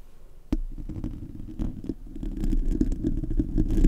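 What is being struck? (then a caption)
Metal mesh microphone grille. Fingernails scratch and rub across the bare, hollow metal mesh grille of a silver Blue Yeti USB microphone. After a sharp scrape at about half a second, a dense, irregular run of low, rumbling scratches follows. It grows gradually louder toward the end.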